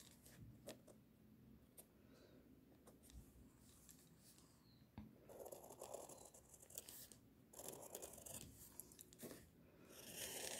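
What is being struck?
Pencil lead on a paper drawing sheet.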